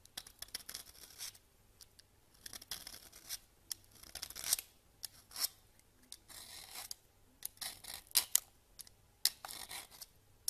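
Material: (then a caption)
Soap. A solid pale yellow bar of soap, held in the hand, is shaved with a red vegetable peeler, and the shavings pile up on a grey counter. Short, crisp scraping strokes with a bright, papery rasp come in irregular bursts, with little low end and quiet gaps between them.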